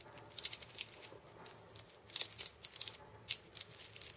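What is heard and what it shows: Fingers and painted nails scratch and tap the steel bead chains wrapped around the wooden body of a hand-held cabasa. The result is a quiet series of bright, crisp clicks and short metallic rattles, with bursts that die away almost instantly.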